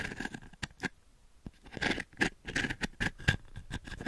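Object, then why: Wooden-frame brush with dense short pins. Long fingernails scratch across the dense short pins of a small, light, octagonal wooden-frame pin brush held in the hand just above the microphone. The result is a run of quick, bristly scratching strokes with sharp, short-lived bursts that brighten to a faint metallic ring near 1.7 kHz.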